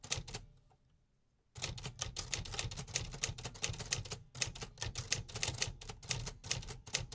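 Fingertips tap the black keys of a beige painted metal 1950s Remington typewriter resting on a wooden table, making repetitive mechanical typing strikes. A couple of sharp clacks are followed by about a second of near silence, then a fast, steady run of bright, dry key strikes with a low thump under each.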